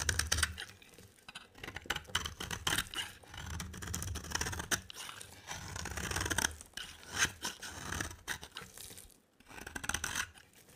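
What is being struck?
Bar of soap.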